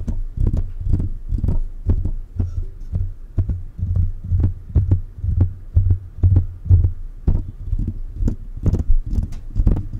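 Fingertips of both hands tap the silver metal body and then the mesh grille of a metal USB condenser microphone. The result is a rapid, uneven run of dull, deep thumps that blur into a low throbbing rumble with almost no high end.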